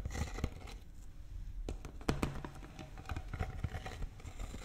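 A large, empty, clear PET plastic water bottle with a blue cap is held up close and squeezed and scratched with fingers and nails. It gives off irregular crinkling and scraping sounds with sharp clicks, plus a low, hollow body under the bright crackle.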